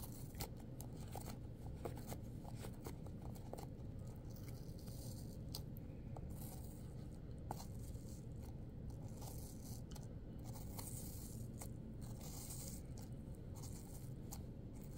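Long, pointed acrylic nails dig into and scrape the crisp flesh in the top cavity of a partly hollowed red apple. The result is a steady stream of crunchy tearing and scraping over a dense low rumble, with sharp, bright clicks and crackles scattered throughout.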